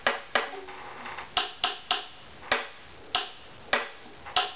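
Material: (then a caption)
Wood. The varnished back plate of a hollow-bodied wooden violin, lying back-up on a mat and held by the scroll, is tapped ten times with a thin stick for tap-tone testing. Each tap gives a bright, woody knock centred near 1.7 kHz that dies away within about a tenth of a second, with the taps coming at uneven intervals.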